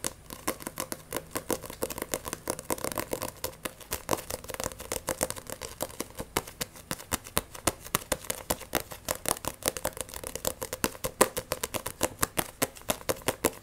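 Long nails tap and scratch fast on the glossy cover of a solid Blue Exorcist vol. 1 paperback manga, making a rapid, dense stream of sharp, dry clicks with bright scratchy edges. The taps sit over a faint midrange tone around 520 Hz and die away almost instantly.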